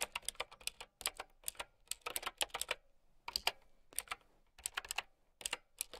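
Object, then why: Plastic mechanical keyboard with round keycaps. A plastic mechanical keyboard with round keycaps is typed on with long nails. Quick, bright, clicky keystrokes come in irregular bursts separated by short pauses, each click dying away almost instantly.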